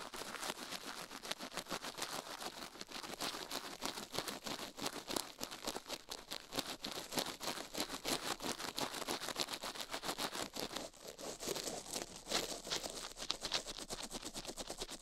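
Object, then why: Silicone ear of a binaural microphone. A gloved hand scrubs fast with a plastic toothbrush across the left silicone ear of a binaural microphone, a solid soft-rubber ear that is itself the microphone, mounted on a steel plate. A dense, rapid stream of bright, crisp scratching strokes runs steadily for the whole clip, with almost no low end.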